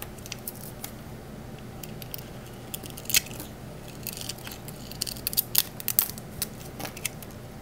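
A small solid green bar of Palmolive soap, painted with dark glitter paint and held in the hand, is shaved along its edges with a small metal blade tool, and the soap curls fall onto a marble surface. Crisp, bright scraping and sharp crackling snaps come over a low steady hiss, growing busier and louder in the later half before settling back.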